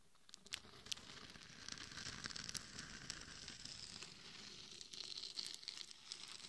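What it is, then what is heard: Glitter-coated mannequin head scratched. Long nails scratch the sides and top of a hollow mannequin head coated in gold and red glitter, which is rigged as a microphone. The result is a steady, bright, gritty crackling and rustling texture with many sharp, short ticks and almost no low end.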